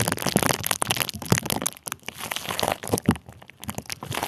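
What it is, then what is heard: Plastic bubble wrap crinkled. A small sleeve of clear plastic bubble wrap, wrapped over the microphone and held in one hand, is squeezed and crinkled with the fingers. Dense, close crinkling and sharp little cracks overlap in quick, uneven bursts, with bright rustle over a soft low body.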